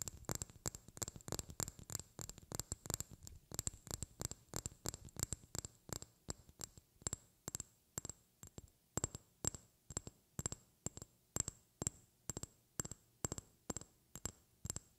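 A small, clear, hollow glass vial that appears empty is held in the hands and tapped and scratched with long painted fingernails. A quick, dense flurry of clicks gives way to a steadier rhythm of separate taps, each a short, bright glassy tick with a high ring that dies almost instantly.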